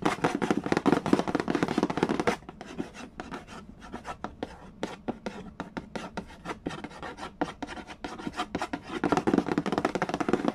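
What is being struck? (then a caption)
Cardboard board game box lid. Fingertips tap and rub fast on the printed cardboard lid of a large, flat, hollow Mastermind board game box. A dense, brushy scratching opens the clip, then gives way to quieter, separate hollow taps, and the louder rubbing returns at the end.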